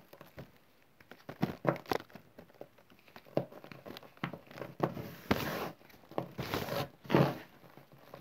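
Fingers scratch through spread-out green chalk and cornstarch powder, pinching and crushing small packed lumps. Soft crumbly crunches and gritty scrapes come in quick bursts, with a few longer rasping swipes near the end, all in a quiet, close setting.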